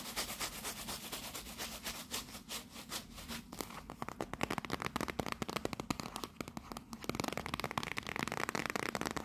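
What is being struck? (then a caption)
Small cardboard tea box. Long nails rapidly tap the front face around the label of a small, closed, rectangular teal printed cardboard tea box held in both hands. Dense, crisp, bright clicks run throughout over a faint low hum, growing sharper and louder after the first few seconds.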